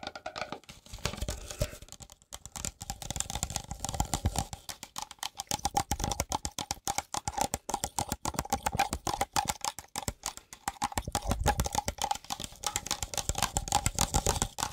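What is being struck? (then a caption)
Thin plastic cup. Fingertips and nails rapidly tap and squeeze the walls of a medium, hollow, empty clear plastic tumbler held in both hands. The result is a dense, irregular run of crisp, short clicks with crinkly squeeze sounds, a faint ringing tone in the mid range, and bursts of soft low thumps.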